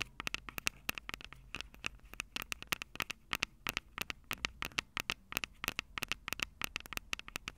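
Long purple acrylic nails tap and scratch the two small crossed metal mesh microphone capsules of a Tascam DR-05 handheld recorder, which sit on a hollow plastic body. Quick, bright clicks come in a rapid, uneven stream with a light scratchy hiss between them, and each tap dies away almost at once.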